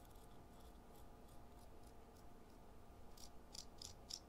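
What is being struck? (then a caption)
Chalk stick on perforated metal file. A solid dark gray chalk stick is rubbed by hand across the perforated metal surface of a purple foot file resting on cardboard, with dark dust falling. Quiet, rasping scratches build to four louder, bright, gritty strokes near the end over a low, steady background rumble.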